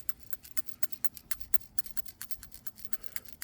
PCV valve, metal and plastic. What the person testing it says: we can hear it allowing it to move back and forth and do its job